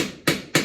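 A mallet taps a glued wooden dowel down into a hole in a table leg, with two sharp, short wooden knocks following the fading tail of an earlier one. The dowel is tapped until the sound changes, showing it has reached the bottom of the hole.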